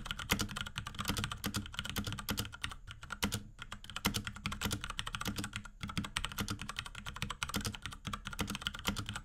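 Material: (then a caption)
Plastic. Rapid typing on a small pink Akko X Ducky 3084 mechanical keyboard with Cherry MX Brown switches and plastic keycaps and case, pressed with the fingertips of both hands. Dense, clacky key presses carry a low thock and a bright click, with brief pauses near 3 and 6 seconds before the steady flurry resumes.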